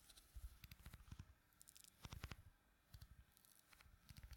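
Fingertips press and squish the exposed surface of pink putty filling a small, round, clear plastic tub. The result is quiet, soft, wet squelching and sticky popping in short bursts, mostly low and thuddy with faint bright crackles, separated by near-silent pauses.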